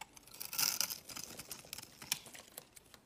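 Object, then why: Bar of soap. A solid pink bar of soap, held in the fingers, is shaved into flakes with a utility knife blade. A series of short, dry, high-pitched scraping and cutting strokes is heard, loudest near the start and then lighter, with no ring after each stroke.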